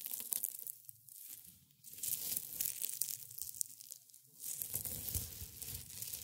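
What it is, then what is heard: Dry, brittle rose petals. A pile of dry rose buds and petals on white cloth is pressed and crumbled between fingers in black and gray felt gloves. Bright, brittle crunching and crackling come in bursts, with quieter pauses in between.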